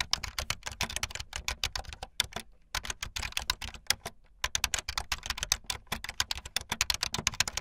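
Fingertips with long light-blue nails type fast on a full-size plastic keyboard with white, blue and yellow plastic keycaps and a blue backlit frame. A rapid run of short, bright, clicky keystrokes comes in quick bursts with a thin low thump beneath. Two brief pauses break the typing before it resumes at the same fast pace.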